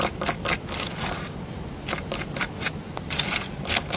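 Fingernails tap and scratch across a solid, porous grey concrete block with a carved relief. The result is a rapid series of sharp, bright clicks and short dry rasps, mostly high in pitch with little low end, separated by faint scratchy texture.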